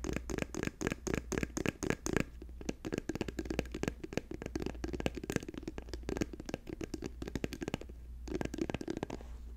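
A plastic tube is tapped quickly with the fingertips in a rapid, continuous run of short, dry clicks and knocks with a hollow midrange tone around 420 Hz. A steady low hum sits underneath throughout, and the taps briefly thin out near the end before picking up again.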